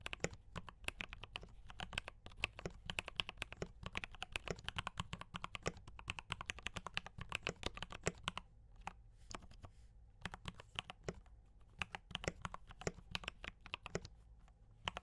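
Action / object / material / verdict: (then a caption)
tap / mechanical keyboard with plastic keycaps / plastic / none. Fast fingertip typing on a D84 mechanical keyboard with brown switches and cream and red plastic keycaps. Rapid, dense clacks with bright, short attacks and no ring, over a low rumbling base. There is a brief slower stretch near the middle.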